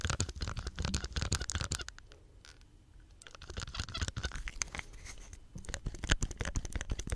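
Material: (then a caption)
Plastic. Fingertips press the hollow green plastic soap pump head with its ribbed collar and scratch along the plastic close up, giving dense, irregular scratchy crackles with a heavy low thump. The scratching quiets to a soft rustle around the middle of the clip, then returns just as busy toward the end.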